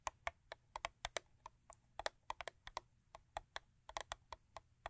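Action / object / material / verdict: tap / paperboard toothpaste box tapped with fingernails / paperboard / none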